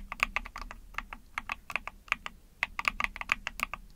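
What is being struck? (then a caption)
Plastic mechanical keyboard. Fingertips with long painted nails type fast on a small 44-key Epomaker TH40 mechanical keyboard with a hollow ABS plastic case, gasket-mounted PC plate, pink/mauve plastic keycaps and pink backlight. A rapid, uneven run of short, bright plastic clacks cuts off almost instantly, each with a hollow tonal ring around 1.2 kHz over a faint low hum.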